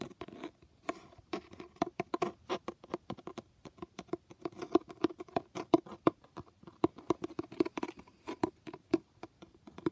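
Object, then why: Cloth-covered hardcover book. A fingertip or nail taps and scratches across the embossed foil lettering on a blue cloth-covered hardcover book. The result is a quick, irregular run of short, dry taps with a soft mid-range knock, almost no ring, and faint scratchy rasps between them.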